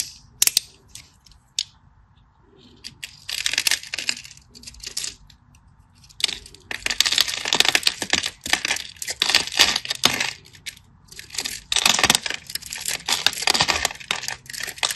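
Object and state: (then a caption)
Bar soap being cut. A solid orange-and-white striped bar of soap, held in the hand, is carved into cubes with a craft knife. Dense, bright scratching and crisp crackling come in bursts of cutting separated by short quiet gaps, with little low end.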